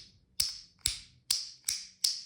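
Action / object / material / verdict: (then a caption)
tap / fishing reel frame and side plate / metal / none. Five taps on the metal frame of a Seasir Salminus baitcasting fishing reel (8.0 high-speed ratio, 12 kg maximum, 230 g) give five short, bright metallic clicks with a clear ringing tone that fades quickly. The clear ring confirms the body is metal, not plastic.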